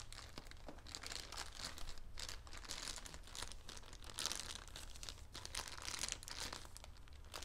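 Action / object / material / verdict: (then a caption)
scrape / soft bedding sealed in plastic wrap / plastic film / none. Fingertips and nails press, rub and crinkle the plastic wrap of a soft bedding set sealed in a patterned plastic package resting on a black table. Dense, bright crinkling and crackling runs steadily through the clip, with a low steady hum underneath.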